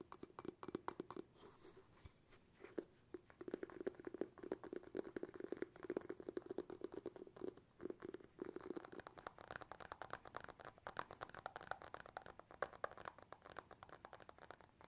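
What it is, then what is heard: Glass jar with bamboo lid. Fingertips tap rapidly and continuously on the round bamboo lid of a glass jar, held with the lid facing forward. The taps are soft, dry and short with almost no ring. They carry a hollow midrange tone in the first half and turn brighter and more scratchy later on.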